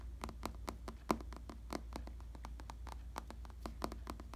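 Fingertips tap and scratch across the surface of a firm, stuffed black faux leather (or vinyl) padded bicycle saddle. The result is a string of soft, short, irregular taps with brief scratchy brushes, each dying away almost at once, over a steady low hum.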